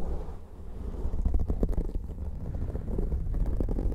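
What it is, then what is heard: Foam microphone windscreen being scratched. Fingertips and nails of both hands scratch and rub two identical soft, porous black foam windscreens covering the heads of studio microphones. The result is a dense, muffled, low rumbling with rough bursts of scratching and almost no high or bright content.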